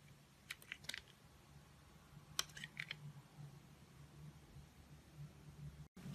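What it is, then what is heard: Bar soap being carved. A utility knife blade carves thin curls off the surface of a solid blue oval bar of soap held in a hand with long nails, while its wrapper lies untouched in the background. Seven short, crisp, bright scraping clicks come in two clusters, over a steady low hum. The sound cuts out briefly near the end before the hum returns.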